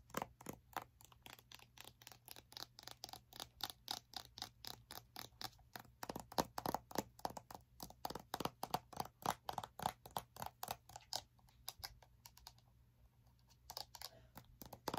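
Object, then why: Small plastic game case with plastic sleeve. Long nails tap and scratch the front of a small hollow plastic Nintendo DS game case with a plastic sleeve. Quick, uneven runs of quiet, crisp clicks mix with light scraping, pausing briefly near the end before the tapping picks up again.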